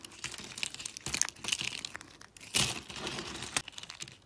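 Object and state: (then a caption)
Dry soap sheets snapping. Thin, brittle teal dry soap sheets are bent and snapped between fingers with lilac nails. A rapid series of dry, bright crackles and crunchy snaps follows, with a few louder breaks, very little low end and no ring after each snap.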